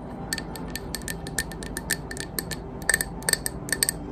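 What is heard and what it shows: Long green acrylic nails tap the side of a medium white opaque glass candle jar, filled with solid wax and unlit, held in one hand. Quick, irregular, crisp clicking taps with a bright, short glassy ping, some landing louder than others, over a faint steady background hiss.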